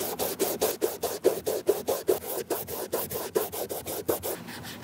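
A cotton ball held in metal tweezers is rubbed along the side panel and toe of a white leather Nike Air Force 1. About 21 quick, steady rubbing strokes make a soft, bright, breathy swish with a faint tone near 375 Hz. Each stroke fades almost at once.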